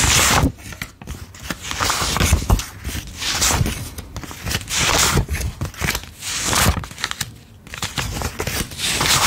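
A stack of US $5 paper bills is held in both hands while fingertips quickly thumb and flick single bills off the stack onto the table, counting them. Crisp, bright paper crinkles and papery snaps come in quick, overlapping bursts, with soft low thuds underneath.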